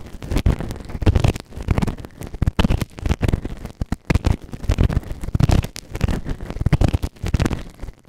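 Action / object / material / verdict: scrape / silicone ear microphone scraped by a plastic ear tool / silicone / none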